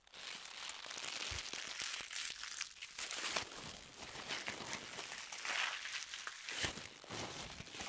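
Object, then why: Paper tissue sheet. A crumpled white paper tissue ball is crushed and squeezed between both hands with long nails. The result is a dense, continuous run of bright, papery crinkling and crackling with sharp little snaps, almost no low end, and steady loudness throughout.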